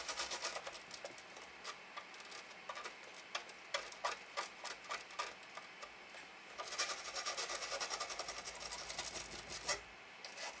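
An orange toothbrush scrubs the right speaker and front panel area of a large, hollow black plastic cassette boombox, a retro Panasonic, with fingertips resting on the panel. Rapid, bright scratching and brushing on the plastic comes in dense bursts of short, crisp strokes with quieter gaps between them.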